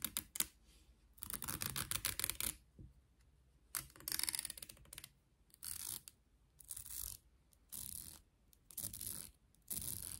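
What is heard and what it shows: Long nails scratch and strum the teeth of a light, solid wooden wide-tooth comb with a handle. Repeated bursts of bright, rapid ticking and rasping clicks are separated by short quiet pauses.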